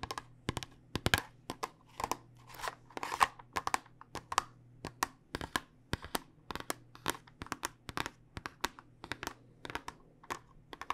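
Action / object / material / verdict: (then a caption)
tap / clear plastic tube filled with small dice / plastic / none. A tall clear plastic tube filled with small dice is held upright and tapped with long nails, giving rapid, irregular, sharp clicky taps, around 45 of them, with a faint rattle of the dice inside. Each tap is brief and dry with almost no ring, over a faint steady low hum.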